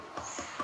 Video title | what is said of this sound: Shop Tour World's Strongest Concrete Ping Pong Tables | It's almost musical right there. That's a good tight mix